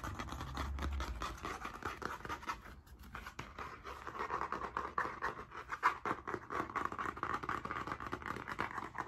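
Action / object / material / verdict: scrape / spiral notebook with stiff cardboard cover / cardboard / none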